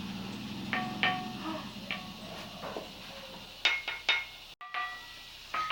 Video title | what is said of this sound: KEAJAIBAN DARI TALANG ANAU... Batu Ini Berbunyi Seperti Talempong - Cerita Nasya EP 208 | Kalau dipukul dengan batu juga bunyinya tidak seperti batu biasa sapi seperti memukul logam